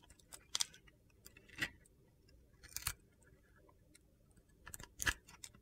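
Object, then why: Solid soap bar with glitter coating. A utility knife blade carves chunky flakes off a hand-sized solid soap bar with a yellow and purple glitter coating and a white core. Several short, crisp, high-pitched crunching scrapes stand out against a quiet background, each dying away almost at once.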